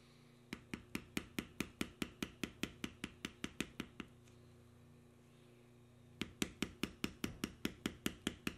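A steel beveler held in the fingertips is tapped along the lines of knotwork carving on a solid tan veg-tan leather panel resting on a stone surface, compressing the leather. Quick, dry taps with a brief click and no ring come in two steady runs of about two or three per second, separated by a quiet pause of a couple of seconds over a low steady hum.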